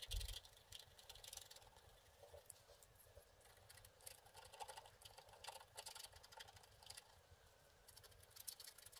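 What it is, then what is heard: Wax-coated scratch art card being scratched. A wooden stick scratches colored areas free on a flat, wax-coated scratch art sheet lying on a table. The result is a quiet, continuous run of bright, dry scratching and patter in irregular bursts over a low steady hum.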